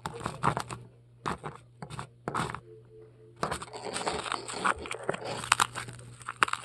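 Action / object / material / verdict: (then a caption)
scrape / polystyrene foam ball / polystyrene foam / none. Long pearl-decorated nails scratch and dig into a large, solid white polystyrene foam ball resting on a table, breaking off crumbs. Short bursts of squeaky, crunchy scraping come first with quiet gaps between them, then turn into a dense, continuous crackling crunch with bright, sharp peaks. A faint steady low hum runs underneath throughout.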